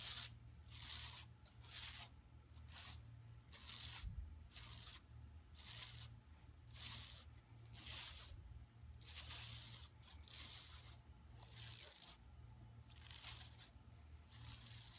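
Long nails scratch the striped sides and lower edge of a flat, empty yellow woven plastic mesh tote bag lying on carpet. Bright, rasping scratch strokes repeat about once a second in an uneven rhythm over a steady low hum.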